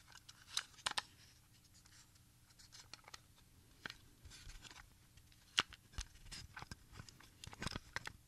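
A small, hollow Sony HF 90 plastic audio cassette, with a clear/smoked shell and tape wound on two reels, is held in both hands and turned and handled with the fingertips, while other cassettes lie still on a quilt nearby. Quiet, sharp clicks and light rattles come in scattered bursts over low background noise. The sound is bright and dry, centered around 2.9 kHz.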